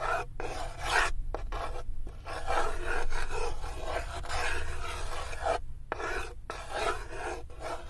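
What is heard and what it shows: A hand with long white-tipped nails rubs a small solid wooden cube across the floor of an otherwise empty light wooden tray near its side wall. The result is a steady, raspy, filing-like scrape with a low rumble underneath, broken into repeated strokes by short pauses.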